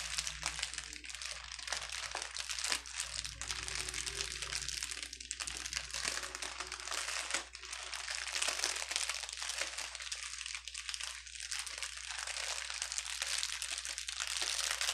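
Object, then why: Plastic bubble wrap sheet. A clear plastic bubble wrap sheet lying on a table is pinched and pressed flat with fingers and a palm. It gives off a dense, continuous run of bright crinkling and crackling with frequent sharp pops. A faint steady low hum sits underneath throughout.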